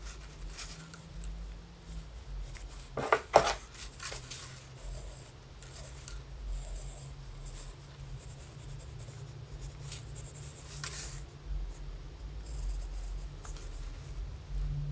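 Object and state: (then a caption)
Pencil shading on notebook paper. A graphite pencil held in the fingers scratches and shades hair strands on a thin lined notebook page. Soft, dry scratching strokes come and go over a steady low hum, with a brief louder burst of scraping near the three-second mark.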